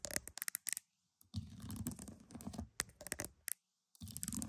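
Pearls are tapped and scratched up close. Quick bright clicks come in short bursts, broken by near-silent pauses and stretches of low, grainy scratching that rumbles underneath.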